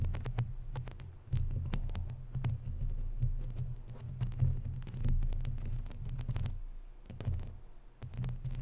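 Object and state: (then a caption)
Metal mesh microphone grille being scratched. Long natural nails scratch and rub across a round, hollow, woven metal mesh microphone grille. The sound is a dense, low, throbbing rumble centred around 125 Hz, broken by many quick, sharp scratchy ticks that flash up into the high range. The rubbing swells and fades unevenly throughout the clip.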